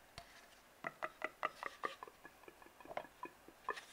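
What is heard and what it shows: Fingertips and nails tap and scratch an empty, hollow brown cardboard tube, producing a quick series of about fourteen soft, dry taps with a hollow, mid-pitched resonance. Faint scratchy brushing fills the gaps between them. Each tap dies away almost instantly, and the overall sound stays quiet and close.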